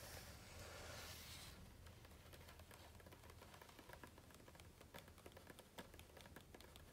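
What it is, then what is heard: Glossy book page. A large hardcover book lies open on a grey floor at a spread of jumpsuit photos, and its hollow-backed stack of glossy, coated paper pages is tapped and scratched rapidly with the fingertips and short nails of both hands. A soft, broad hiss gives way to a quick, uneven patter of bright, dry clicks and scrapes over a low rumble.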